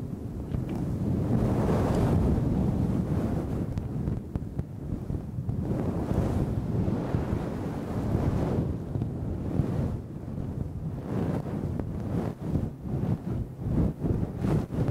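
A red-handled makeup brush sweeps continuously over a fluffy synthetic fur microphone windscreen, producing deep, rumbling, wind-like swishes concentrated in the low end. Long slow strokes swell and fade in the first half, then shorter, quicker brushing strokes follow toward the end.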